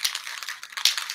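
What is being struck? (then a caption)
Metal spray paint can with metal mixing ball. A metal can of gold spray paint is shaken so the metal mixing ball inside rattles and swirls the paint. The bright, high-pitched clicks come in rapid bursts, with about nine distinct rattles over just over a second.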